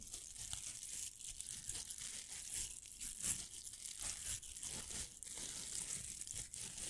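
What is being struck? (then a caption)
Plastic velcro hair roller. Fingernails scratch across the hook surface of a pink hollow velcro hair roller. The result is a quiet, continuous, bright raspy crackle that comes in short rough strokes, with very little low end.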